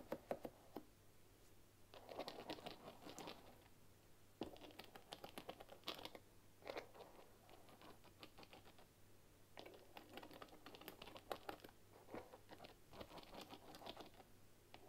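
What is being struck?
Bamboo paddle hairbrush with wooden pins.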